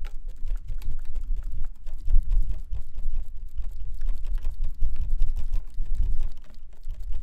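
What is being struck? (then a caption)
Plastic folding fan with fabric leaf. A plastic folding fan with white plastic ribs and a floral printed, pleated fabric leaf is flicked open, waved and snapped closed by hand. It makes a dense run of quick, dry clicks and ticks over a soft, low rushing whoosh, with each click dying away almost instantly.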